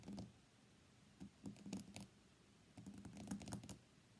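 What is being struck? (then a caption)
Smartphone with glass front and back. Fingernails tap the glass screen of an iPhone X lying on a mat, then the phone is flipped and its white glass back is tapped. Short, clicky, low-pitched taps come in irregular clusters with quiet gaps between them.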